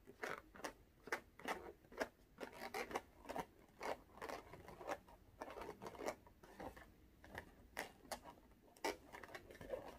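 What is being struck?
Small inflated latex rubber balloon.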